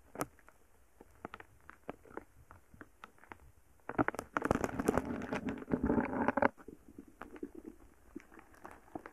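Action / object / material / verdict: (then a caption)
scrape / foam bead slime poked with a wooden stick / foam beads / none. A palm-sized lump of soft, solid purple foam bead slime rests on a microphone while a wooden stick pokes and drags through it. Sparse, quiet crackles and pops come at an irregular pace. From about 4 to 6.5 seconds they swell into a dense, louder burst of crackling before thinning back out.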